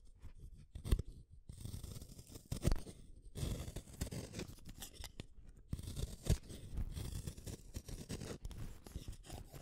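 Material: Wood.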